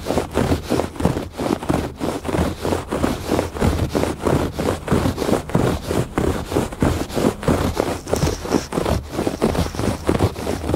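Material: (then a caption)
Woven fabric. Fingertips and nails rub and scratch across a woven fabric rug on a porch. Rapid, steady strokes make a dry, scratchy rustle, with most of the energy in the low and middle range and little brightness. Each stroke fades almost instantly.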